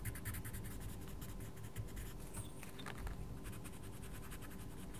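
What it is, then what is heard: Coloured pencil scratching on a paper book page. A wooden coloured pencil rubs and scratches steadily across a mandala page in a small paperback colouring book while the other hand holds the page flat. Quick, bright scratchy strokes repeat over a constant low hum at an even, quiet level throughout.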